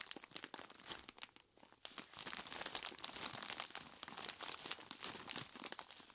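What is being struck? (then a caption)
Plastic bag full of ice cubes. A large clear plastic bag full of ice cubes is squeezed by hands in knobbly rubber monster gloves, giving dense, bright crinkling and crunching with sharp clicks as the cubes shift. After a brief quieter pause early on, the squeezing resumes and continues steadily to the end.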